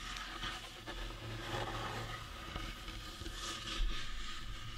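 Fingernails scratch and fingertips rub along the sides and top of a painted resin decorative skull figurine, likely hollow. The result is a continuous, soft scraping and rubbing texture with bright, gritty highs over a steady low rumble, with no separate taps standing out.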